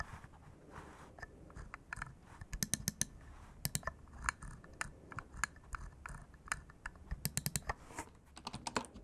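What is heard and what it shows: An index finger repeatedly clicks the button of a small, hollow bamboo wood computer mouse resting on a cork mat. Sharp, dry, bright clicks come in irregular bursts and clusters over a low, quiet background, and each click stops almost instantly.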